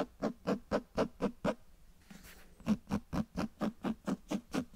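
Fingers tap and scratch the spine and cover of a closed cloth-bound hardcover book held close. Sixteen soft, hollow taps with a low resonant body come in a steady rhythm, broken midway by a brief, brighter scratching rustle. Each tap dies away almost instantly.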